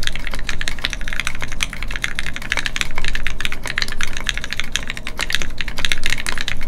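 A Keycult No2 Rev1 mechanical keyboard with Gateron Ink switches and red plastic keycaps sits on a desk mat while the fingertips of both hands type continuously. A rapid, steady stream of sharp, bright clacks with very short decay plays over a constant low hum.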